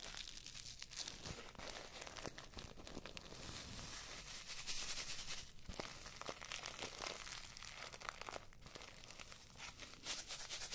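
A small filled paper tea bag on a string with a red tag is rubbed and crinkled between fingertips and long nails close in front of the microphones. The result is a quiet, steady stream of dry, bright crinkling and rustling, broken by quick crisp ticks and scratches.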